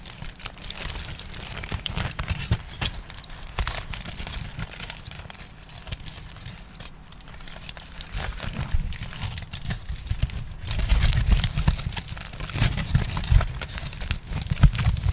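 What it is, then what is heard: Aluminium foil crinkled. A crumpled piece of aluminium foil is squeezed and crinkled with the fingertips, giving a continuous stream of dense, bright crackles and crisp crinkling bursts over a low, rumbling handling noise. The crinkling grows louder and busier in the second half of the clip.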